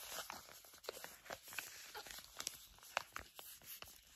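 Long acrylic nails crinkle and scratch a flat pink and blue sheet facial mask pouch made of plastic/foil laminate. The result is a quiet, bright stream of crisp crackles with sharp, short snaps scattered through it, and almost no low end.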